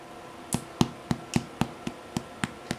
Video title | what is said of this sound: Sourdough Rye Bread | sounds Hollow now